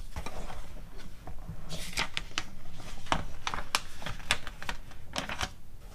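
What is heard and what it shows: Long acrylic nails tap and rub the pages of an open glossy paper magazine catalog, with some page turning. Sharp, bright clicks and papery swishes come at an irregular pace over a low, soft rumble.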